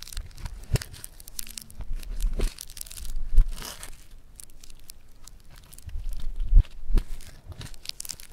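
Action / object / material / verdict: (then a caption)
scrape / foam bead clay / foam beads / none. A hand-sized solid lump of gold-yellow foam bead clay (floam) on a marble surface is squeezed, pulled and crunched with fingertips and thumbs. It gives off dense, irregular crackling and crinkling bead sounds with short, dry pops and tearing textures.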